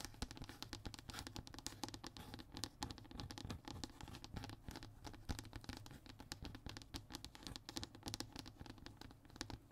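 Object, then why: Hardboard fiberboard panel. A flat, thin brown hardboard (MDF/fiberboard) sheet lying on a table is scratched across its textured surface by one hand with short nails. The result is a dense, rapid run of dry, bright scratching strokes over a steady low rumble.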